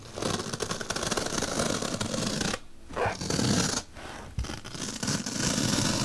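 A bottle brush held by long-nailed fingers pokes and scrapes along a slit in a large, solid white melamine foam magic eraser block. The result is dense, bristly, broadband scratching with a bright hiss. Two brief quieter dips break up the otherwise steady friction.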